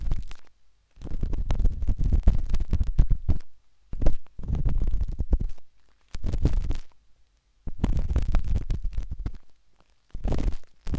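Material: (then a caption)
Silicone. A metal-tipped dot stick with a wooden handle scratches inside the soft, hollow canal of a pinkish-white silicone binaural microphone ear. It makes bursts of muffled, deep rumbling and rapid scraping, almost entirely low in pitch, separated by short silences.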